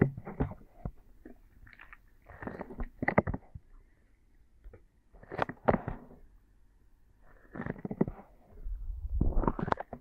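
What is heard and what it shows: Soft silicone binaural microphone ears are held between both palms and fingers and rubbed and massaged throughout. The result is close, muffled bursts of squishy, rumbling friction with a heavy low end and little brightness. The bursts come in waves separated by brief quiet gaps.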